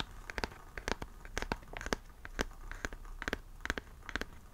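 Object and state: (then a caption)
Hardcover book. Fingertips and nails tap and scratch the front of the same solid, medium hardcover book with a glossy printed cover, close to the mic. Around twenty short, dry, crisp taps land in an irregular rhythm, with bright clicky edges and almost no ring. Faint scratchy rustling fills the gaps between taps.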